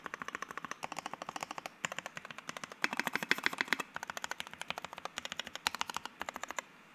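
A white 60% Keycult No.1/60 mechanical keyboard with Soho switches, an FR-4 plate and PBT keycaps is typed on quickly with fingertips, then single keys near the edges of the board are pressed. The result is a steady stream of sharp, clacky keystrokes with a bright tone centered around 2 kHz. Each stroke ends quickly, with almost no low end.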